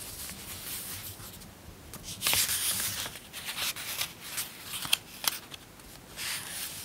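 A thin glossy paper teen magazine lying on a pink blanket is opened from the cover, and its pages are rubbed and smoothed with fingertips and long painted nails. Soft, bright page rustling and brushing is heard throughout, with a louder crinkly swell near the middle and a few sharp nail taps toward the end.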